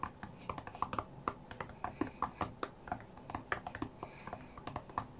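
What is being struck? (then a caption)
Glass touchscreen tablet. Fingertips tap quickly on the glass touchscreen of a flat white iPad tablet in a rapid, uneven rhythm of short, dry clicks. Each tap is brief with almost no ring, centered around 1 kHz over a faint low background hum.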